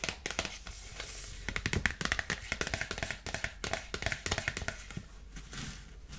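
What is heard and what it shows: A dark polka-dot paper gift bag is held sideways and tapped and scratched with long nails. Quick, crisp taps mix with dry, papery scratching and rustling, bright and fast-decaying with no ringing.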